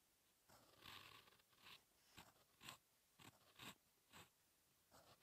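A steel fountain pen nib scratches across a thin, solid lined paper sheet lying flat, writing in continuous handwriting. Quiet, bright, crisp scratching comes in short bursts of strokes separated by brief pauses, with little low end.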